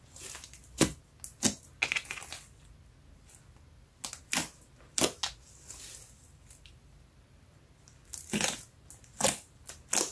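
Fingertips poke a large, shiny brown slime lump resting on a yellow mat, pressing finger holes into it, then pull and fold it. The result is a scattered series of short, bright, wet pops and squishes, with quiet pauses between bursts and little low rumble.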